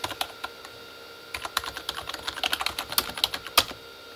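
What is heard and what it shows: Both hands type with their fingertips on a full-size Corsair K35 backlit mechanical keyboard, with plastic keycaps on a hollow plastic body. A few quick clacks come first, then a pause, then a dense run of bright, sharp taps around 3.3 kHz, each one dying away almost instantly with little low end.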